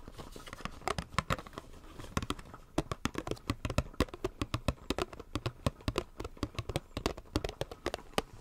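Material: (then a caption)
Plastic. A small, hollow retail blister pack, a clear plastic shell on a white printed card, is held in both hands and tapped and scratched with fingertips and nails. Dozens of sharp, quick-decaying clicky taps come in an uneven, fast rhythm. Each tap has a bright edge over a soft, low hollow body, with faint scratching and crinkling between them.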